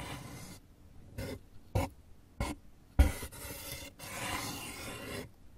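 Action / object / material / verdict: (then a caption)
scrape / corrugated cardboard box / cardboard / none. Fingers and nails tap and scratch the far wall and rim of an open, empty brown corrugated cardboard box with a raised flap, giving a hollow sound. Soft, bright scratching runs between several dull, low thumps, the loudest near the middle. Longer rasping scrapes fill the end.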